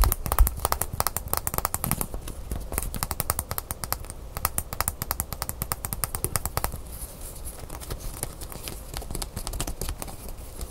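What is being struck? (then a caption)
Braided leather bracelet with metal clasp. Fingernails tap and scratch a small braided leather cord bracelet with a metal clasp, held in the hands. Fast, irregular dry clicks with almost no ring run throughout. After about 6.7 seconds they soften into quieter, denser scratching.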